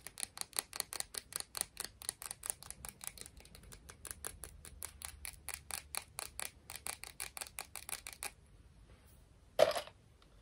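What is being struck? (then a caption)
Small seashell. Long manicured fingernails tap and scratch a small, smooth, hollow white seashell held in both hands, making a steady run of quick, crisp, high-pitched clicks for about eight seconds. A short pause follows, then a single louder, sharper tap near the end.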